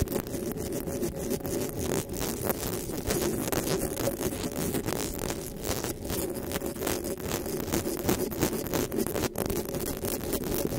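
Long nails scratch and tap the metal mesh grille of a black desktop microphone. Dense, continuous scraping and rapid light taps blur together into a steady rasping texture with low rumbling body, a strong band around the midrange, and sharp clicks that flash up into the highs.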